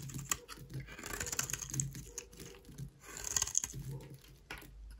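A solid beige rectangular bar of dry soap, held in the hand, is shaved into curls with a utility knife blade. The strokes come through as bright, crisp scraping and rasping with a faint low rumble underneath, swelling and fading in irregular bursts before a sharp final scrape.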